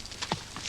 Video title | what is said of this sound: Exploring Samoa in 1980, The Family That Dared. EP08 of 12 | durch klopfen an die kokosnuss wissen sie zu erkennen in welchem Reifezustand die Nuss ist.